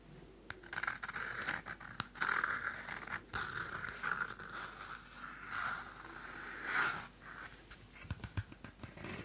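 A small pocket Field Notes cardstock notebook has its cover scratched with long nails, making a steady, rasping scratch centered in the mid range with a bright edge. Sharp paper clicks and flicks cut through as the pages are flipped, especially toward the end.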